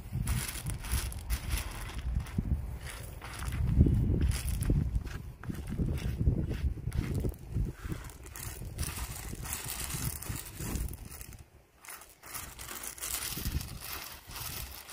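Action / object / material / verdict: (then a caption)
scrape / small river-rock gravel / stone / none. Gloved hands rake and spread loose, solid pebbles of small tan river-rock gravel across a landscape bed along a brick paver border. The stones rub and scrape in a steady, uneven crunching shuffle, with most of the sound low and heavy and only a faint bright edge. The crunching swells loudest around the fourth second before settling back.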